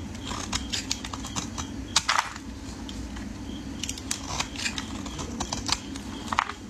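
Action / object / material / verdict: scrape / bar of soap cut with a metal blade / soap / none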